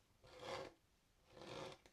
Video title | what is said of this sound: skate ASMR (Tapping, Scratching etc) | nice harsh sort of gritty texture of the grip tape